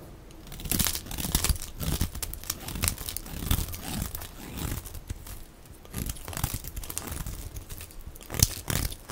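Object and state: Dry soap bar being shaved.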